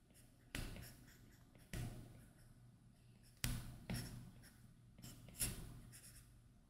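A plastic Apple Pencil tip draws short scratching strokes across a flat iPad glass touchscreen fitted with a matte screen protector while inking a face. Five distinct strokes each give a quick, dry, bright scrape that fades within a fraction of a second. A faint steady low hum sits underneath throughout.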